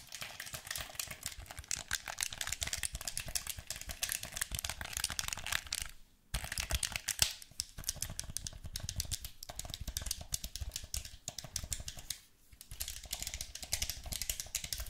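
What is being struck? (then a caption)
Plastic game controller. A hollow black plastic gamepad has its buttons and triggers tapped and pressed with fingertips and thumbs, making a rapid, dense stream of bright, short plastic clicks with a little low thump beneath. The clicking runs almost continuously, with brief pauses near 6 and 12 seconds.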